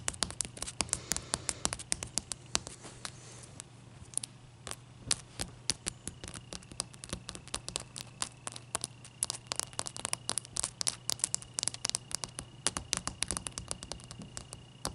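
Long painted nails tap and scratch a single large, clear, solid ice cube standing on a towel. Dozens of sharp, dry clicks come in quick, irregular bursts, bright and short with almost no ring, interspersed with brief scratchy rasps. A steady low hum and a faint, thin steady tone sit underneath throughout.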